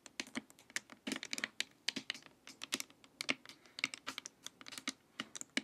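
Long acrylic nails tap and scratch along the sides and top of a glossy, hollow hard-plastic LED light-therapy face mask lying face-up. About 29 quick, crisp taps sound in an uneven run, each a dry, bright click with a hollow resonance near 2.2 kHz that dies away almost instantly. Brief scratching sounds between them.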